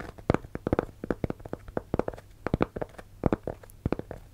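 A round, thin, solid cork coaster about the size of a hand is held in both hands close to a microphone and scratched across its surface with fingertips and nails. About two dozen short, dry, crackling scratch bursts come in quick irregular clusters over a faint steady low hum.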